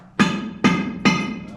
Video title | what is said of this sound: Mine Tour June 10, 2024 | hear that Hollow in there guys that means there's fractures back there